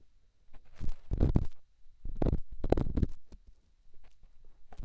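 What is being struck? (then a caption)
Small rough stone on silicone microphone ear. A small, solid, rough rock held in the fingertips is rubbed against a silicone microphone ear, producing muffled, deep scraping and rumbling bursts with faint crackles. The rubbing comes in uneven strokes separated by brief quiet gaps.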